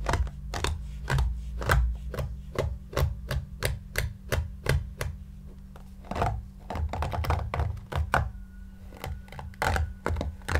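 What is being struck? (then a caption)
Stuffed shaggy yarn cushion. A large, soft, stuffed, light-grey shaggy yarn or faux-fur cushion is brushed with a flat white brush held in one hand while the other hand rests on it. Quick, regular brushing strokes make soft, dull thuds and bright scratchy swishes over a low steady hum. The strokes are rapid and evenly spaced, then slow and become more irregular toward the end.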